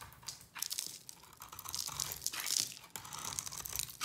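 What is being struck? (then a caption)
Bar of soap scraped with a blade. A solid orange bar of dry soap with a yellow ridged rim, held in the palm, is scraped with a utility knife blade that shaves off crumbly flakes until the bar's face is flat. The result is a bright, dry crunching and scraping texture made of many quick rasping strokes, almost all of it high in pitch with little low end.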